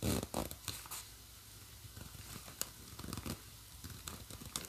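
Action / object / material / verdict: scrape / nylon bag with plastic zipper / nylon / none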